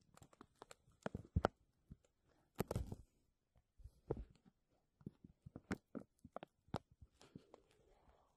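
A thin, clear, embossed plastic vacuum-seal bag draped over a metal mesh microphone dome is gripped and crinkled by fingertips and nails. Irregular bursts of crackling and rustling come in quick clusters with short pauses, each crinkle sharp and dry with no ring. Denser scrunching swells around the middle and again near the end.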